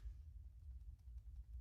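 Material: Nothing is struck.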